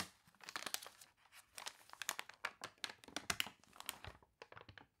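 Hands turn and crinkle the wavy, stiffened pages of an open glossy paper toy catalog while long nails scratch across the printed paper. The result is a dense run of sharp, bright crinkles and crunchy rustles with almost no low end, each burst dying away almost instantly, with brief quiet gaps between page movements.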